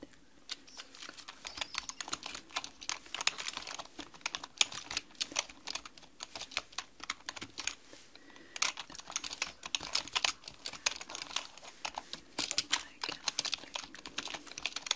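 Long manicured nails and fingertips type rapidly on a black mechanical computer keyboard with plastic keys. Dense, bright, sharp clicks with almost no low end run through the clip, broken by a brief pause just before the 8-second mark before the quick tapping resumes.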